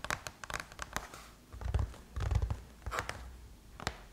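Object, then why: Aluminum laptop lid. Long chrome-painted nails and curled fingers tap on the closed lid of a silver aluminum MacBook. The taps come in a quick, irregular run of sharp, bright clicks that die away almost instantly. Two brief low, dull swells rise beneath them partway through.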